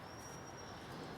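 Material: Nothing is struck.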